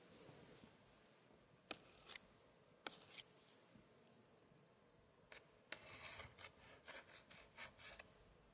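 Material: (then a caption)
Paper. A gloved hand drags and scratches a long, thin pointer across the paper cards on both pages of an open 1880s scrapbook spread with thick paper pages. The result is quiet, bright, dry scratching and rubbing, broken by sharp ticks and short scraping bursts that cluster toward the end.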